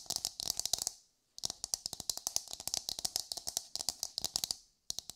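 Long nails tap and scratch the hard outer surface of an empty, hollow, palm-sized brown coconut shell half as it is turned in the hands. Quick, dry, bright clicks come in rapid clattering bursts, broken by two short silent pauses. Each tap stops almost instantly, with little low-end body.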